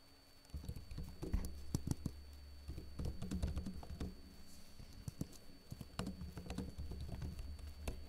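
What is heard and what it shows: Fingertips with short blue-painted nails type continuously on the plastic keys of a backlit laptop keyboard. After a brief quiet start, a steady stream of soft, dry clicks and taps follows with no ring, over a constant low hum.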